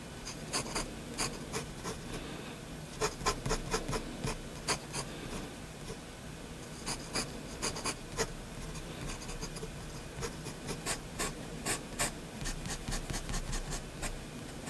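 A steel EF nib on a metal-bodied Faber-Castell Hexo fountain pen scratches and strokes short lines across a flat sheet of white drawing paper lying on a desk, partly inked with a sketch of a building. Quick, bright, scratchy strokes come in uneven bursts over a soft, steady low background hiss.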